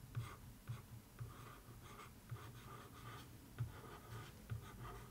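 A wooden stick is drawn along the surface of a cardboard box lid covered in newspaper-print paper, in a writing-like tracing motion. The result is quiet, dry scratching strokes in short repeated bursts, with a steady low hum underneath.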